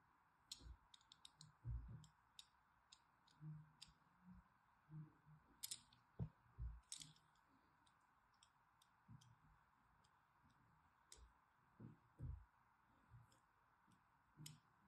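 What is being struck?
Bar of soap.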